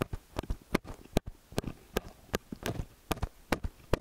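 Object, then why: Small metal stereo microphone capsules. Fingertips and nails grip, press, rub and tap the two silver capsules of a small hollow metal X/Y stereo microphone up close. A quick, irregular run of dull, low thumps and clicky taps with brief bright edges, each dying away almost at once, sits over soft rubbing scratches in between.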